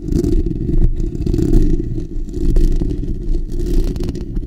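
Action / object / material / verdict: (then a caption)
scrape / steel wire-mesh microphone grille / steel mesh / none. Fingertips and short natural nails of both hands scratch the bare steel wire-mesh grille of a black desktop condenser microphone's hollow dome. The result is a dense, continuous, boomy rumble of rapid scratching, heavy in the low end with little brightness, swelling and dipping in loudness throughout.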